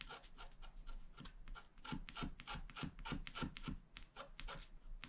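A wooden stylus scratches rapid grass strokes into the lower right of a flat black wax-coated scratch art card. Quick, fairly steady strokes of about three per second give short, bright, raspy scrapes, each with a soft low thump beneath.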